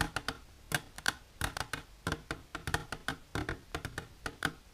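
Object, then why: Clear plastic container. Long silver-polished natural nails tap quickly on an empty, hollow, transparent rectangular plastic container with an inner divider, held upright on a blue cloth. The taps come as short, sharp clicks with a bright hollow ring that fades almost at once, falling in uneven bursts.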